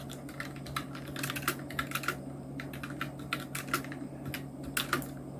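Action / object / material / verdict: tap / plastic mechanical keyboard / plastic / none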